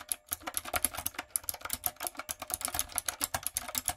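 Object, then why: Mechanical keyboard with round plastic keycaps. Fingertips and long nails type quickly on a light-up, typewriter-style retro mechanical keyboard with round plastic keycaps. About 28 sharp, bright clicks and clacks follow in a steady, uneven patter, each dying away almost at once, with a faint low thump under some strokes.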